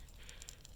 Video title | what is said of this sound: 2008 Toyota Tundra 5.7 PCV Valve replacement | if you shake it, it should rattle. That's how you know it's still good.